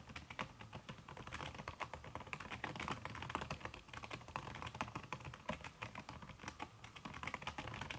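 Fingertips and long red nails type fast on a backlit aluminium laptop keyboard fitted with a red silicone key cover. The result is a dense, steady stream of short, soft tapping clicks with a muted, slightly dampened tone and a brief bright tick on each keystroke.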